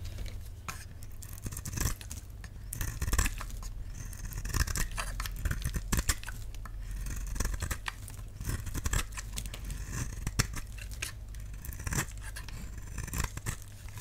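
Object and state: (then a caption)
Dry soap bar being carved. A utility knife blade carves curls off a solid, palm-sized oval pink bar of dry soap with an embossed logo. Many short, dry scraping strokes sound in quick succession, with crisp high crackles over a steady low hum.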